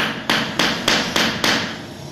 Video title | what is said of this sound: Azulejista profissional mostra como colocar piso com essa nova tecnica | escuta o barulho do centro do piso, que é onde ele deveria ficar oco